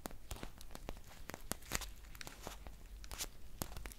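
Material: Foil.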